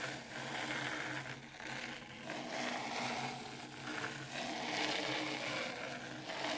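Hands with very long pointed pink acrylic nails rake and scratch through fine dry white sand in a shallow black round dish Zen garden tray. A continuous grainy, bright scratching hiss rises and dips in waves over a faint steady low hum.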